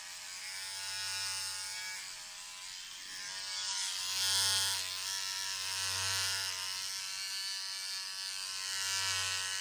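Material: Nothing is struck.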